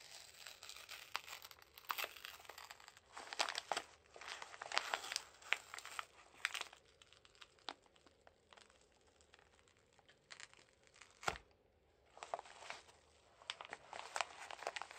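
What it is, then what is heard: Paper padded mailer envelope. Gloved fingertips crinkle and pull open the flap of a Jiffy Airkraft paper padded mailer envelope, rubbing and tearing the paper. Dense bursts of bright, dry crinkling and rustling come in waves, with a quieter stretch in the middle broken by a single sharp snap before the crinkling resumes.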